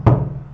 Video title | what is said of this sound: 2° ano Aspectos fisiológicos do som, etc | se eu bater aqui na madeira ela tem um som diferente